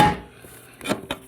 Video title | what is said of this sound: TH400 Build Series - Planetary Gear Set (Assembly + Installation + Rear Unit End-Play) | make sure it sounds solid then we know we're all the way in the lugs all the way against that little skinny snap ring